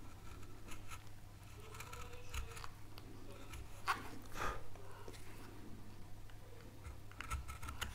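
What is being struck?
Wooden relief carving panel.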